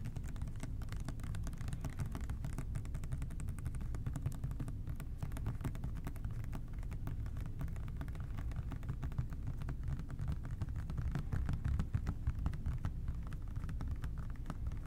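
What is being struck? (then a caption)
Plastic trigger spray bottle. An OxiClean plastic trigger spray bottle, medium size and hollow, is held in both hands and tapped quickly with fingertips and short nails. The taps come as a dense, steady stream of soft, dull clicks with a low hollow thump underneath and almost no ring.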